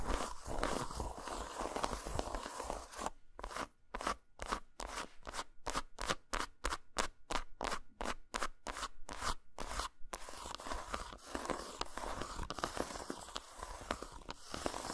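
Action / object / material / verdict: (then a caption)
tap / dark chocolate bar / chocolate / none. Long nails scratch across the surface of a solid, dotted-texture dark chocolate bar resting on a towel, making a dense, bright crunchy rasp. In the middle, the scratching gives way to a quick run of distinct crisp taps with short silences between them. The continuous scratching then resumes.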